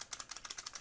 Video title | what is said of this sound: How to Troubleshoot a Vehicle Underhood Convenience Light | you can hear that motion switch proximity switch going back and forth